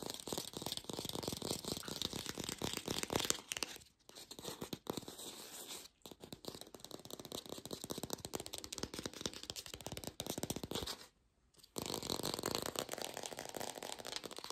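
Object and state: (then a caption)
Fake plastic green apple. An artificial plastic green apple is fast-tapped in a lo-fi recording made without a microphone, giving a dense, bright, dry rattle of quick clicks with little low end. The tapping pauses briefly around 4 and 6 seconds and drops out almost entirely near 11 seconds before resuming just as rapidly.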